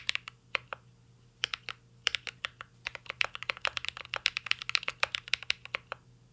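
A mint-green Cyberboard R3 mechanical keyboard with a metal case and plastic keycaps is typed on continuously with the fingertips. About 37 sharp, bright key taps come in irregular bursts, each clacking around 2.5 kHz and dying away almost instantly over a quiet background.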